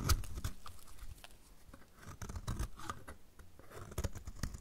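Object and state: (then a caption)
Dry soap bar being cut. A solid, dry, orange-striped bar of soap is scraped with a snap-off utility knife blade, and shavings fall away. Short, crisp scraping strokes come in quick bursts with faint bright crackle, over low, soft thuds. Each stroke dies away almost at once.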